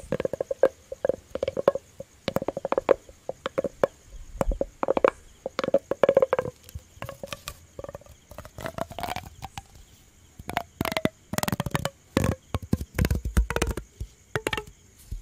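A hollow, yellow, ribbed plastic pop tube toy is bent, stretched and scratched with fingers close to the mic. The result is fast bursts of crackly clicks and scratches, often carrying a hollow tone near 500 Hz that sometimes glides slowly downward.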